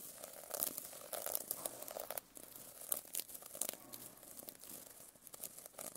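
A metal pen scratches across the plastic sequins on a sequin-covered notebook, producing a dense, quiet run of crinkly, rasping scrapes. Bright ticks and clicks from the sequins sit over a thin mid-range rustle, with almost no low end.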